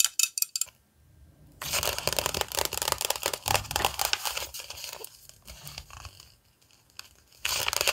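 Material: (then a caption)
Coated paper. Long nails tap and scratch the cover of a glossy paper gaming magazine held up close, giving bright, crisp rustling scrapes with quick tapping bursts. The sound starts with sharp taps, pauses briefly, then runs as dense, high scratching that thins out before a final louder burst.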